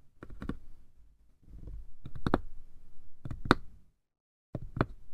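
Fingertips and nails scratch and tap the top of a small hollow wooden box with a painted lid. Short bursts of dull, low, quickly damped knocks with sharp clicky edges stand out over soft rustling scratches, separated by brief pauses.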